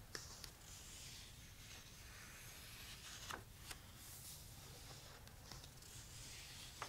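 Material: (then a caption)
Paper. Fingertips rub along the uncoated paper pages of a thick open paperback book and lift and turn a single page. Soft, bright papery rubbing runs steadily over a low background hum, broken by a few short crisp rustles and snaps as the page moves.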